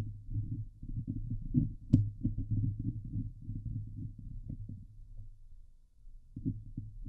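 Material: Steel mesh.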